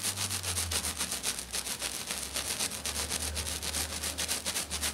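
Long dark nails on both hands scratch and tap hard and fast across a flat silver glitter sheet, probably glitter foam. The result is a rapid, fairly regular run of bright, hissing scratch bursts, about four per second, over a steady low hum.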